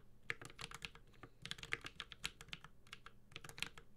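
A Space65 Cybervoyager 65% mechanical keyboard with a metal case, ABS plastic keycaps and Holy Panda switches is typed on continuously with the fingertips of both hands. A steady, uneven stream of sharp, bright clacks, each dying away almost instantly, rides over a soft low thud from the case.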